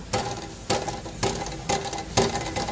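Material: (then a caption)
Metal. A loose, unsecured metal part under the rear of a minivan is moved by hand, producing repeated sharp metallic rattles with short ringing tails. It is the abnormal squeak-and-rattle noise being hunted for, though the exact part is not named.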